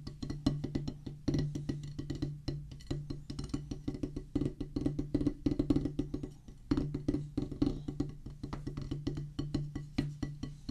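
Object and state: Rubber drum practice pad on wooden base.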